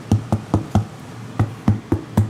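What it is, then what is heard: Ripe pumpkin. A heavy French pumpkin is knocked on eight times to check its ripeness, each knock a short, hollow, drum-like thump with a low pitch around 105 Hz that dies away almost at once. The deep hollow sound shows the pumpkin is ripe.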